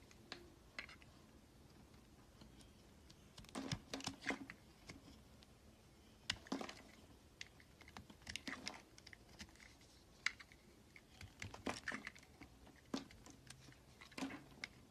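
A red utility knife blade shaves curls off the end of a solid, rectangular, pale green bar of soap held in the hand. The sound is clusters of short, crisp, crackly scraping bursts, bright and dry with almost no ring, set against a quiet background.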